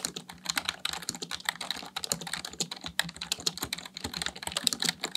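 Fingertips press keys rapidly on a full-size black plastic computer keyboard. A steady stream of short, bright, clicky keystrokes with almost no ring and very little low end.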